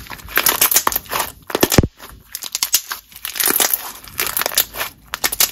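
A glossy, translucent green jelly slime is stretched between both hands and then pressed with the fingertips. It gives off a continuous run of wet squishing, popping and crackling bursts with bright, hissy edges. A few lower, stickier squelches appear near the middle.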